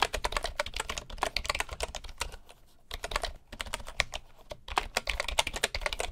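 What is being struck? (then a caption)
Bamboo wooden keyboard. Fingertips of both hands type steadily on a full-size bamboo computer keyboard with wooden keycaps and a hollow housing. The quick, dry, bright taps come in dense bursts with short pauses, with a low knock beneath each keystroke.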